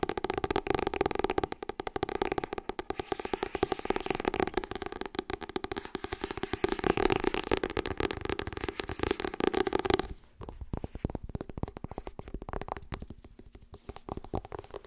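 Long red nails tap and scratch rapidly on the glossy cover and spine of a Harry Potter hardcover book, making a dense, crackly stream of quick taps with a hollow tone around 370 Hz. At about ten seconds the sound turns quieter and thinner, becoming softer scratching and lighter taps until the end.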